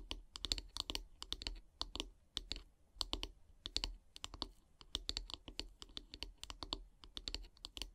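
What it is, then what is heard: Wooden brush handle tapped with fingernails. Long painted nails tap along the solid wooden handle of a bristle brush. The result is quick, dry, clicky taps in rapid bursts with short pauses between them, bright on top with a faint low thud under each tap and almost no ring. The whole clip stays quiet.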